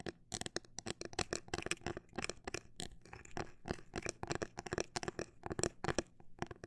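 Long black nails tap the surface of a transparent, hollow plastic phone case filled with glitter, with a grip disc on the back. The clip is a steady run of short, sharp clicky taps with little ring, at an uneven pace, with a few brief pauses.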